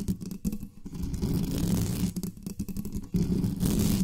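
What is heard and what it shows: Long nails scratch fast over the top of the metal mesh grille of a black studio microphone. The result is a dense, muffled, low rumbling scrape with faint crackle, almost all its energy in the low range. It runs steadily for about four seconds, with brief dips near half a second, two seconds and three seconds.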